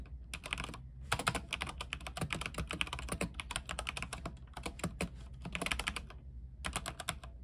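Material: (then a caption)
Plastic. A compact mechanical keyboard with white plastic keycaps, a silver case and RGB lighting is typed on with the fingertips of both hands. Fast, bright, sharp clacks come in dense bursts, with short pauses near the start and end, each keystroke cutting off almost at once over a steady low hum.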